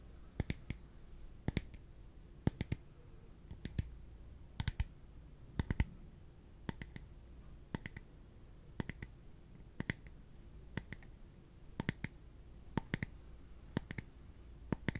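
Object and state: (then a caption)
Clear plastic cup. A small, translucent, empty clear plastic cup is held in the hands and tapped with the fingertips and nails. Sharp, dry clicks come in quick clusters of two or three, about once a second, each dying away almost instantly. A steady low hum sits underneath.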